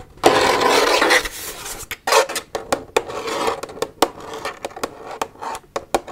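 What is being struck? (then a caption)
Plastic milk jug. Long nails tap and squeeze an empty, hollow plastic milk jug held up in the hands. A loud, broad crinkling squeeze opens the clip, then a quick run of sharp, bright clicking taps follows with brief hollow rings and softer rubbing between them.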